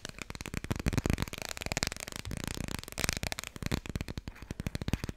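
A small, thick Dikkie Dik children's board book with solid, glossy laminated cardboard pages is held in both hands and tapped quickly on its cover and edges with long red-painted nails. It makes a rapid, steady stream of short, dry taps with a dull low thump under crisp, bright clicking. Each tap dies away almost at once.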